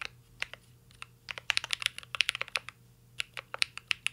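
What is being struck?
Mechanical keyboard with metal case and plastic keycaps.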